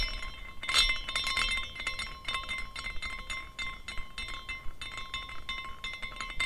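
A small decorative glass carousel figurine with hanging glass horses and an iridescent base is spun by hand, and the horses swing and clink against the glass posts and each other. The result is a quiet, irregular, chime-like tinkling of short, bright glassy clinks, centered around 3.6 kHz over sustained ringing tones near 1 kHz and 2 kHz.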